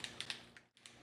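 A plastic bottle of ACU gray green DuraCoat paint is shaken, and its mixing ball rattles free with quick, sharp, high-pitched clicks. The rattle shows that the settled paint has loosened.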